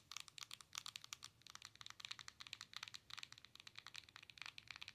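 Long nails tap rapidly on the glass touchscreen of a Nintendo Switch handheld console with a plastic body, producing some 34 quiet, dry, bright clicks in uneven bursts. Each tap is crisp and dies away instantly with no ring, centered around 1.2 kHz, with sharp high edges over a faint low hum.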